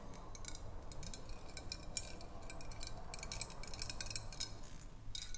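Long acrylic nails tap along the side of a large clear glass swing-top bottle with a wire cap, which holds some water and is held horizontally. The result is a quick run of light, bright clicks and ticks with almost no ring, over a quiet low rumble.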